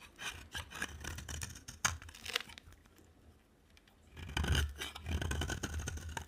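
A box cutter blade scrapes and carves shavings off the cut face of a dry, solid white soap bar with an orange rim, held in hand. Dense, crackly scraping strokes run for about two and a half seconds, fall nearly silent for over a second, then return louder and brighter until the end, over a low steady hum.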